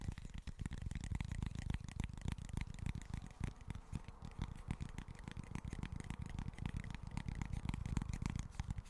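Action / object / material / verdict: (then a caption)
tap / small flat cork board / cork / none. Fingertips and short nails tap and scratch quickly on a small flat cork board. The result is a steady stream of dull, low, muffled taps with very little brightness, each dying away almost instantly, under a faint scratchy texture.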